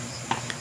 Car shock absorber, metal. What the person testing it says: tumutunog na yan, ang tunog niyan ay parang nagpapalakpak, klak klak klak, ganun. So sira na yan